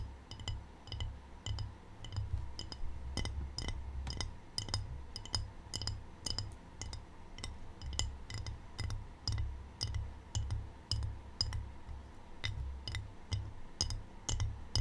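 Fingertips and short painted nails tap a small, shallow, empty white glazed ceramic tray with a black triangle pattern, held up in both hands. The irregular taps come about twice a second as bright, glassy clinks with a very short ring over soft, low thumping.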